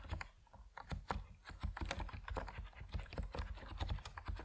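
Fingertips of both hands type steadily on an Epomaker NiZ Plum Atom 68, a 68-key compact mechanical keyboard with white and purple PBT plastic keycaps on a white case, resting on a wooden desk. The result is a quick, continuous run of short, dry keystroke taps with a deep, low-heavy body and very little ring after each press.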